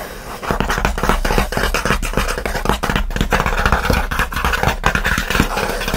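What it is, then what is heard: Cardboard shipping box. Fingernails scratch rapidly and aggressively across the top and front of a closed kraft cardboard mailer box, likely empty or light, resting on a blanket. The result is a dense run of dry, rasping scrapes with a steady low rumble beneath.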